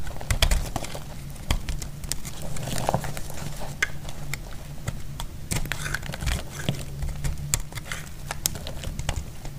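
A solid, dry orange bar of soap held in the hand is scraped and shaved with a metal utility-knife blade, its shavings falling onto a cloth. Quick, crisp scraping ticks and short crackles repeat steadily throughout, over a constant low hum.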